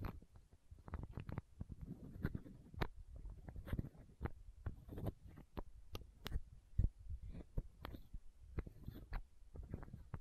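Long nails tap and scratch a small, hollow, clear plastic eye drop bottle held close to the microphone. The result is a quick, irregular run of soft, muffled taps and clicks, mostly low and dull with a few brighter ticks, separated by faint scratching.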